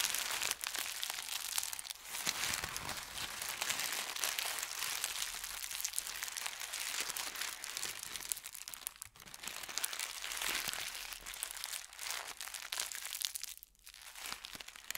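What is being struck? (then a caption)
Thin paper sheet. A crumpled ball of thin white paper is squeezed and crinkled in the fingers, giving a dense, continuous bright crackle with rapid irregular crunches and almost no low end. The crinkling runs steadily throughout, with brief quiet dips near 9 and 14 seconds.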